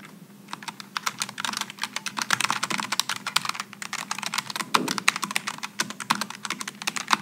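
Both hands type with their fingertips on a Logitech G915 low-profile mechanical keyboard with aluminum and plastic keycaps. The result is a fast, steady stream of short, crisp, bright clacks that stop almost instantly, over a faint low hum.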